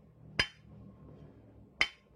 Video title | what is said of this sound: NMAX 2DP KLEP NMAX NEW BK6. DERAJAT BOTOL KLEP STANDAR. PISTON ALL NEW NMAX BK6. | Kalau bunyinya padat, itu masih seimbang. Tapi kalau bunyinya sudah pecah, itu tandanya sudut 45-nya ini tidak sama tinggi.